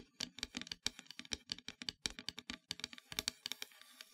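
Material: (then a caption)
Wood. Long metallic nails tap rapidly near the top edge of a flat, solid, dark painted wooden heart-shaped plaque. The result is a quick, uneven string of crisp, bright clicks that die away almost instantly, with very little low end.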